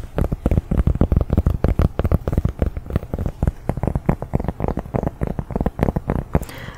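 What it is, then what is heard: Cork coaster, fingertip tapping. Fingers tap rapidly on a large round cork coaster, producing soft, dull, low thuds with very short decay. The taps come in a quick, uneven flurry with no ringing, a sound found relaxing and tingly.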